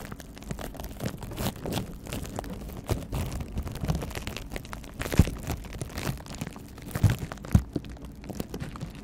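A clear plastic bubble wrap pouch is held close in front of the microphone and scratched and squeezed with the fingertips. It gives off a steady, low-weighted crinkling with dense small crackles and a few sharper pops standing out near the end.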